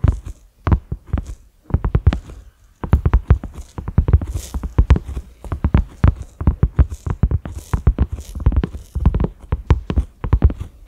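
A large, flat cream silicone pot lid with concentric ridges and a black center knob is tapped with the fingertips and short nails of both hands. Rapid, dull, low thuds come in uneven bursts with brief pauses, with faint bright clicks from the nails. Each tap dies away almost instantly.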